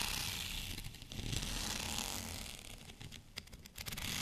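Short fingernails of both hands scratch along the length of a long white plastic rolling pin covered in small bumps. The result is a steady, bright, crackly rasp with a ratchet-like clicking texture and some low rumble underneath, dipping and rising a few times as the strokes change.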